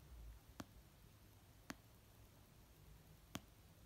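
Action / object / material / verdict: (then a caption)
tap / paperback book, paper / paper / none. An orange paperback novel of solid paper, resting on a blanket, is tapped slowly with nails and fingertips. Three soft, short taps land at uneven intervals, each a dull thud with a brief bright click on top. Between them there is only a low, quiet background hum.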